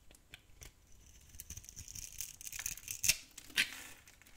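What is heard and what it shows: A small metal blade carves and scrapes a hand-sized solid bar of old, dry tan soap held in the hand, cutting small cubes that crumble off. The sound is a run of quiet, dry, crisp scratches and crackles that are mostly bright and high, with two sharper snaps near the end.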